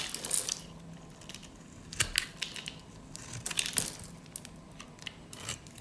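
A metal utility-knife blade scrapes and cuts along the scored surface of a hand-held, solid pink rectangular bar of dry soap, shaving off small crunchy cubes. Dry, bright crunching and crackling bursts come in irregular clusters, with the loudest snaps around two seconds and near the four-second mark. Each crunch stops almost instantly, with no ring.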